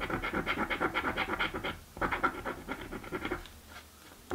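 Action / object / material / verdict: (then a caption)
scrape / paper scratch card with latex coating / paper / none. A coin edge scratches the latex scratch-off coating of a thin paper lottery scratch card, which lies flat on a dark wooden table and is held by one hand. Quick, rhythmic, raspy strokes come in bright, papery bursts, pause briefly near two seconds, then resume. The scratching thins out into quieter rubbing before one last short scrape at the end.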